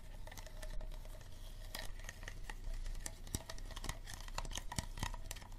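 Fingernails tap and scratch an empty, hollow clear plastic water bottle, working over its ribbed bottom and green cap end. The result is a quiet, dense run of short, dry clicks and brushing scrapes with bright edges over a low, steady hum.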